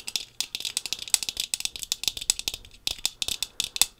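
Long pink fingernails rapidly tap the brown-tinted lenses of thin-framed sunglasses worn on the face, making about 22 quick, crisp clicks in an uneven rattling rhythm over four seconds. The taps are bright and almost entirely high-pitched, with little low end, and each dies away almost instantly.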